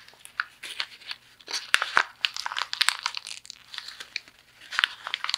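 A thin sheet of white printer paper is crumpled and squeezed by both hands with the fingertips. It produces a steady run of sharp, dry crackles and crinkles, bright and high with almost no low end. Each snap cuts off almost instantly.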